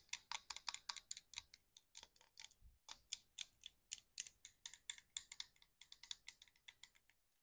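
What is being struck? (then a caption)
Small plastic pump bottle partly filled with liquid. A small, clear plastic snail mucin serum bottle with a black pump cap and a gold label, hollow and partly filled with liquid, is held in one hand and tapped with long acrylic nails. About 33 quick, dry, bright clicks follow one another in an irregular, typing-like rhythm. Each tap dies away almost instantly, with no low thud.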